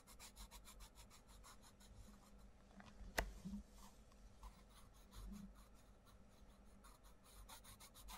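A wooden coloured pencil rubs and scratches across the page of an open paperback colouring book on a wooden table in steady colouring strokes, while the other hand presses the page flat. The soft, bright scratching strokes repeat in a quick rhythm over a low background hum, broken once by a sharp tap about a third of the way through.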